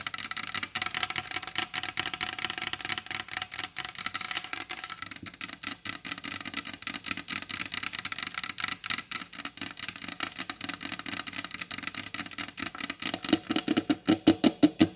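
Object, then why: Varnished wooden tabletop. Long blue acrylic nails tap rapidly on a large solid wooden table with a glossy varnished top, making a steady stream of dry, bright clicks with very little ring. Toward the end the taps grow louder and take on a lower, hollow knock around 320 Hz.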